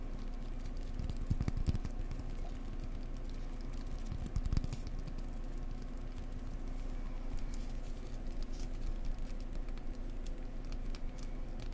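A cork block is tapped gently up close with the fingers, giving a steady run of soft, dull, muffled taps. The taps are deep and low-pitched, with almost no brightness, and they stop at once with no ring. A few slightly louder taps stand out along the way.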